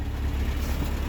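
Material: Nothing is struck.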